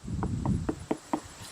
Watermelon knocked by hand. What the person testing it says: this one is definitely ready sounding